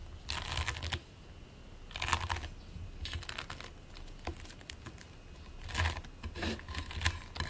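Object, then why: Lump of polystyrene bead modeling foam. Fingertips and palms press, squish and rub a single solid, flattened lump of purple and green play foam (polystyrene bead modeling foam) resting on a white plate. Bursts of dense, bright crackling and fine ticking come and go over a soft low rumble, with quieter pauses between them.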